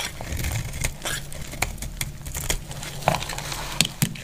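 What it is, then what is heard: Dry bar soap being scraped. A solid purple bar of soap is held and scraped with a utility blade into shavings, giving a steady dry, crackly scraping texture with bright edges. Sharper clicks and snaps punctuate the scrape over a low, constant hum underneath.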